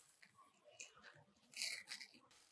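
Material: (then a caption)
Fried dough. Freshly fried ribbon pakodas (murukku), a crispy gram-flour snack, are broken close to the microphone. They give a series of sharp, bright, dry crackles and snaps with no low end, the loudest burst coming midway. The crunch shows the snack is properly crisp.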